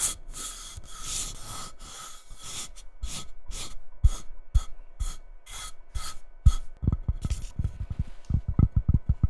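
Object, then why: Cork-topped ceramic coaster. Long red-painted nails rub and scratch across a small, flat, square coaster with a cork top on a solid white ceramic base, with a label or plastic film on the cork at the start. Steady, bright, papery scraping strokes repeat at first, then give way to quicker, sharper scratches and soft, low knocks toward the end.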